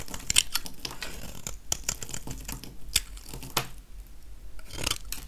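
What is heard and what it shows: A metal utility-knife blade scrapes shavings off the surface of a small, solid, oval, dry yellow soap bar held in one hand. Short, crisp scratches and clicks come in quick, uneven bursts, with bright rasping edges over a soft low rumble. Each stroke stops almost instantly with no ring.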